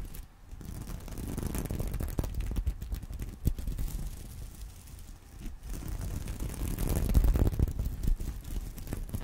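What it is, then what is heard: Sequin fabric purse. Fingernails scratch the plastic sequins of a small reversible sequin-covered fabric purse resting on a pillow. The result is a soft, muffled, irregular rustling scrape, mostly low in tone, with scattered brief clicks. It swells louder in two stretches before easing off.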